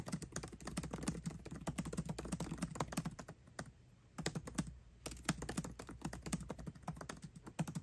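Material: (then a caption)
Plastic. Fast, continuous typing with both hands' fingertips on a 13-inch aluminium MacBook Pro laptop keyboard with backlit black plastic keycaps. Many quick, short, dry key taps run together in a steady stream, with two brief pauses near the middle. The clicks have a low-mid thump and a bright tick on top.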